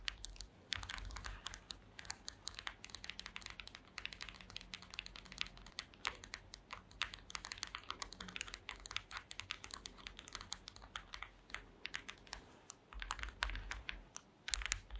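Long green acrylic nails tap rapidly on a flat, thin, solid woven mat of small wooden or bamboo slats. The result is a dense stream of dry, bright clicks that stop instantly with no ring, over a faint low rumble that swells at times.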